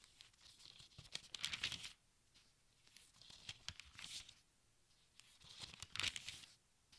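Fingertips brush and flip the thin paper pages of a large open textbook in three separate bursts. Each produces a quiet, bright, crinkling rustle with short crisp crackles, separated by near silence.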